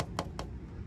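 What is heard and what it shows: Four quick, light ticks, each gone almost at once with no ringing tail, over a low room hum. The sound is thin and papery rather than metallic, as a molded plastic grille gives when tapped with a fingertip.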